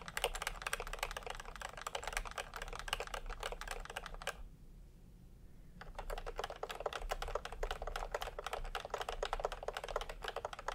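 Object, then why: Plastic keyboard with round keycaps. Fingertips of both hands type continuously on a full-size pastel plastic typewriter-style keyboard with round plastic keycaps in a hollow plastic case. Rapid, bright plastic clacks run together with a low hum underneath. The typing pauses briefly near the middle, then resumes at the same pace.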